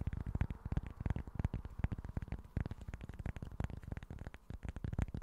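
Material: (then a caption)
Cork. Short fingernails scratch and tap a small flat cork board in a quick, dense run of soft taps and scrapes. Each tap is a short, dull, low thud with almost no ring and a faint bright click on top.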